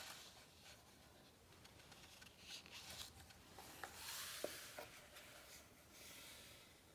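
Fingertips tap and slide across a glossy coated printed page of a large hardcover book lying open flat on a thick page stack. Soft, bright rubbing and scraping hiss fills the clip, broken by a few short, sharp taps near the middle.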